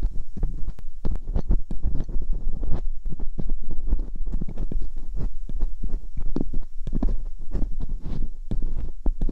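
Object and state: Metal pick scratching inside silicone microphone ears.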